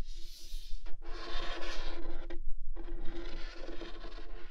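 Fingernails slowly scratch the printed lid of a large cardboard NT1 microphone kit box lying flat, making a dry, bright, raspy scraping in long strokes. The strokes are broken by brief pauses, with a steady low hum underneath.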